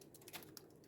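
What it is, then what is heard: Watery liquid food coloring in a bottle. A plastic bottle of regular liquid food coloring is shaken, giving a few quick, thin, watery sloshes. The light liquid sound shows it is mostly water, which is why it will seize chocolate.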